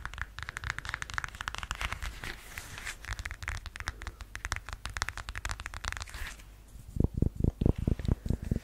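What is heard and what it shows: Long yellow nails scratch the straps, heel and sole edge of a beige faux suede high-heeled sandal. For about six seconds there is a dense, fast, crackly scratching with a bright edge. Then comes a short pause, followed by louder, deeper, separate scrapes and taps near the end.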